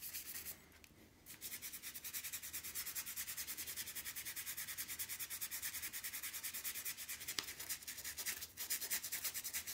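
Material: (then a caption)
Steel. A toothbrush scrubs a solid steel golf iron head, held by its shaft over a blue towel with soapy foam on it. Rapid back-and-forth bristle strokes make a bright, hissing scrape, with a brief pause near the start before the steady scrubbing resumes.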